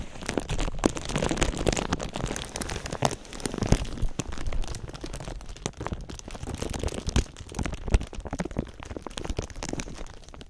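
A thin sheet of clear plastic film draped over a binaural microphone is crinkled and rubbed with fingertips. Dense, continuous crackling and crinkling fill the clip, with sharp, bright snaps scattered throughout over a heavy low handling rumble.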